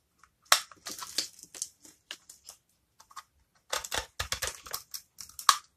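A hand-sized solid yellow bar of dry soap held in the palm is cut and scraped with a small metal blade, shaving off crisp small cubes. Sharp, bright crunching and scraping bursts come in two clusters separated by a brief quieter stretch, each crackle short and dry with almost no low end.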